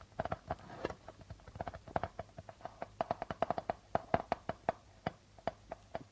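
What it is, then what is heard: Darbuka drum with plastic head. Fingertips and nails tap and scratch near the center of a hollow darbuka drum's white plastic head, which is printed with a logo. About thirty quick, dry taps follow in an uneven rhythm, each with a brief hollow tone near 680 Hz that dies away almost instantly. Faint scratchy texture fills the gaps between them.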